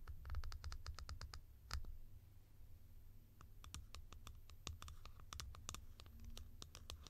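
Long nails scratch and tick across the textured top and grille of a tall, hollow blue plastic cap. Quick, bright clicks and scrapes come in irregular bursts, with a pause in the middle, over a steady low rumble.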